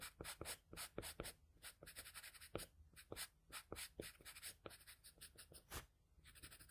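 A wooden pencil's graphite tip scratches across a flat sheet of drawing paper in fast hatching strokes, making quiet, dry scratches. The strokes come as a rapid run of short, bright rasps with hardly any ring. Soft rustling fills the gaps between them.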